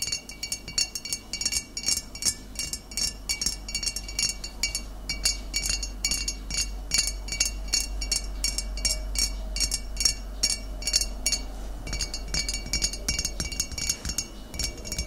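Long nails tap and scratch the body of a full glass bottle of cider vinegar standing upright. The result is a rapid, continuous run of short, bright clinks with quick-fading ring and light scratchy rattles, over a steady low hum.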